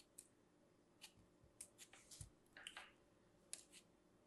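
A thin metal craft knife blade repeatedly scrapes and slices through a small solid lump of purple kinetic sand held in fingers with long manicured nails. About ten short, crisp, bright scraping and cutting ticks sound over a quiet background, some with soft low thuds, each dying away almost instantly.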